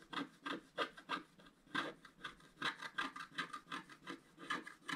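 A wooden stylus scratches away the black coating of a scratch-art card, a flat sheet with a colored foil layer underneath, held flat on a table. About twenty quiet, dry, rasping strokes come at an uneven pace of roughly three per second. Each short scrape is bright and papery, with almost no low end, and stops quickly.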